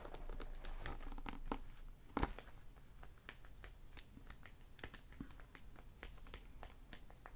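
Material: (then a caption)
Plastic film. Fingertips and nails tap on and crinkle the plastic library dust-jacket cover and edges of a solid hardback novel, "Shadow Dance," lying on a wooden table. Soft, irregular crinkles and short ticking taps run throughout, with one sharper, louder tap just after two seconds.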